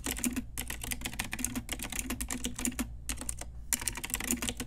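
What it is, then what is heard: Plastic mechanical keyboard. Long nails and fingertips type rapidly on a pink Ajazz retro typewriter-style plastic mechanical keyboard with round plastic keycaps. Bright, crisp clicks and clacks run in quick bursts, broken by short pauses, over a steady low hum.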